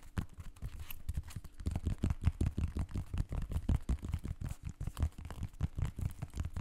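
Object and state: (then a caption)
Synthetic mesh sneaker. A hollow blue and white synthetic mesh sneaker is held against the mic while fingertips scratch and tap its mesh upper and sole edge. The result is a fast, irregular stream of short, dull, low thumps mixed with soft scratchy rustling. The sound is heavy in the bass with almost no brightness.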